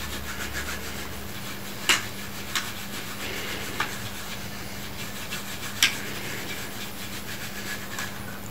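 Large green studded plastic Lego wing plates of thin, hollow ABS are scrubbed back and forth with a yellow-handled brush, making a steady, hissy rubbing over a low hum. Six short, sharp clicks stand out from the scrubbing.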